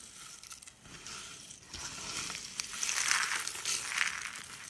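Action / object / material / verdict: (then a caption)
scrape / soap curls and flakes crushed by hand / soap / none. Dry white soap curls, a brittle spiral and flakes, are pressed with the palm and crushed in the hand. The result is a dense, bright crunching and crackling that grows louder toward the end.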